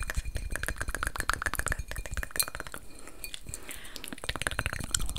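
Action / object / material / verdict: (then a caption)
tap / textured glass vase / glass / none. Long nails tap rapidly on a medium-sized, hollow, empty reddish-amber textured glass vase held in both hands. The result is a steady stream of quick, bright clinks that die away almost instantly, with soft low thuds underneath.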